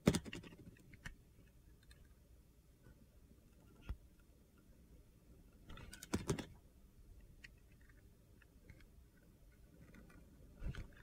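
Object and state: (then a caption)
Bar of soap being shaved with a blade. A utility knife blade shaves repeated thin cuts along the side of a solid red-coated soap bar that is yellow inside. The cutting makes quiet, crisp scraping and clicking sounds over a low background hum, with louder crunchy bursts at the start, around the middle, and at the end.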